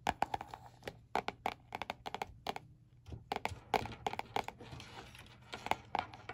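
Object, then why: Spiral notebook with laminated cardboard cover. Fingertips of one hand tap on the glossy laminated cardboard cover of a small spiral-bound notebook lying flat on a white board. Quick, irregular bursts of short, dry taps have a slight hollow tone and a crisp bright edge, with quiet pauses between the clusters.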